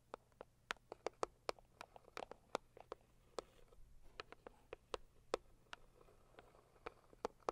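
Long acrylic nails on both hands tap quickly on a hollow, medium pink floral Saviland cardboard gift box. About 26 quiet, sharp taps land in an uneven patter, each a dry click centered in the midrange with a bright edge. Every tap dies away at once against a soft background hiss.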